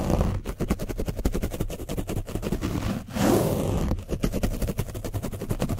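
A foam brush is scratched rapidly over the top of an orange foam microphone windscreen coated with dried paint. The result is a dense, fast run of rough scratching strokes with a heavy low rumble, broken midway by one longer, continuous, brighter scrape before the quick strokes resume.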